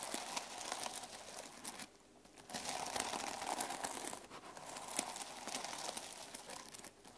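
A closed notebook with a plastic sequin cover lying on a wooden table is brushed and scratched with fingertips and nails. The result is a steady, bright, crinkly rustle of many quick clicks that pauses briefly near the two-second mark, then resumes.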